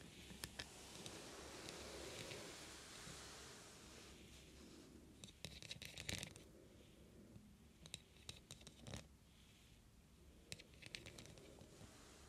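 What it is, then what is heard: Beaded metal heart trinket box. Fingertips and long nails scratch and tap the oval pearl-like beads on the lid of a small, hollow, heart-shaped metal trinket box. Soft, bright scratching fills the opening seconds, then scattered sharp clicks and taps stand out over a quiet, rustling background.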